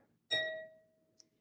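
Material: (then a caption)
Glass. A wine glass holding more water is tapped gently with a pencil, producing a bright, clear ring with steady overtones that fades over about half a second, followed by a faint short high tick. It sounds quite different from the glass with the least water, because the vibration passes from the glass into the water.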